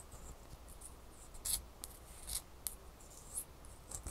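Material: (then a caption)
Ice. Long fingernails scratch and rub a single small, solid ice cube held up close. Soft, bright scratching plays over a low, steady rumble, broken by a few short, louder high scrapes. The sound is quiet and dry, with no ringing after each scrape.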